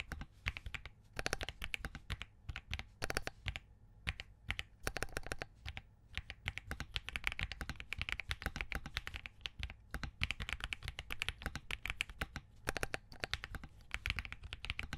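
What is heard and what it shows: Fingertips type continuously on a compact Spark67 mechanical keyboard with green and cream plastic keycaps and Crane switches on a POM plate. The result is a rapid stream of short, dry key taps with a bright, high clack over a solid low thock, pausing briefly around 4 and 6 seconds before resuming.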